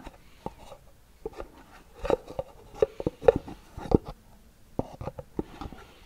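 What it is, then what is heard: Cardboard gift box tapped and scratched with nails. Long nails scratch and tap a small, hollow white cardboard gift box with a gold band, held in both hands. Soft, dry taps with a hollow mid-pitched knock fall at an uneven pace between quiet scratching, and each tap dies away almost at once.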